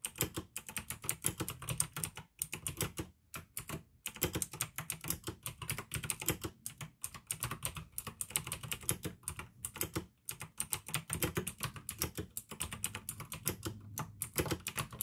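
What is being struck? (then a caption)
Plastic mechanical keyboard. Fingertips type steadily on a pink AUKEY plastic mechanical gaming keyboard with blue switches, producing a dense run of sharp, bright clicks over a soft low thump from each keystroke. The typing flows in quick bursts separated by brief pauses, with a faint trace of music in the background.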